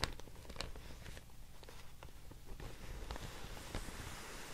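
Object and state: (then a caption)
Handmade paper sheet. A thin beige handmade paper sheet is held up and folded in both hands while long nails and fingertips crinkle, scratch and tap it. Quiet, dry crackles and short taps come and go over a steady low rumble, with brief bright bursts of rustle.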